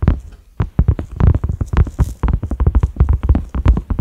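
A large, flat cream silicone pot lid with concentric ridges and a black center knob is tapped with the fingertips and short nails of both hands. A quick, uneven run of dull, low, thumpy taps dies away almost instantly, with a brief pause near the start.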